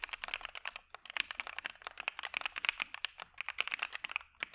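A dark Maja mechanical keyboard fitted with PE foam and white PBT keycaps is typed on with the fingertips of both hands in a steady, rapid stream of keypresses. Each press gives a short, crisp, bright clack that dies away almost instantly, with hardly any low-end thud.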